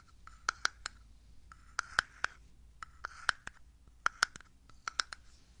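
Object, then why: Small glass jar with lid. Fingernails tap and click on the lid and body of a small, full glass jar with an orange label and a black lid, held in hand. Around sixteen quiet, sharp clicks sound with a ringing tone near 1.5 kHz and bright edges, each dying out almost instantly. Soft scratchy rustling fills the gaps between them.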